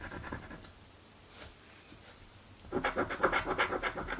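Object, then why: Paper scratch-off lottery ticket scraped with a coin. A small coin held between the fingers scratches the latex coating off a thin paper/card crossword-type lottery ticket lying flat on a dark table, held down by the other hand. A brief stretch of soft scratching fades to near silence, then louder, rapid back-and-forth scrape strokes with a dry, papery texture continue to the end.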